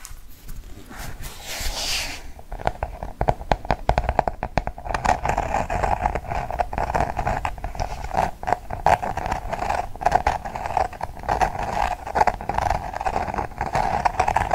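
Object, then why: Paperback book with glossy cardboard cover. Quick dull fingertip taps and nail scratches on a glossy card book cover, close and dry with no ring.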